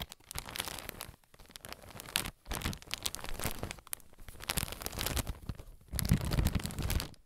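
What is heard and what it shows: A clear soft plastic bag full of white cotton pads is held up and crinkled and scratched with fingers and nails. Dense bursts of crisp crinkling and rustling come in several runs with brief pauses between them. The final run is the loudest and fullest.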